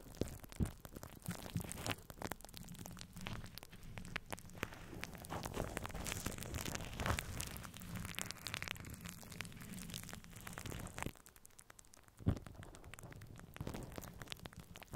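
Fingertips and short nails of both hands scratch and rub a domed metal mesh microphone grille covered in clear plastic cling wrap. The result is a dense, crinkly crackle of plastic scratching over a low, boomy rumble, quieting briefly near the end before a sharp, close knock and more rubbing.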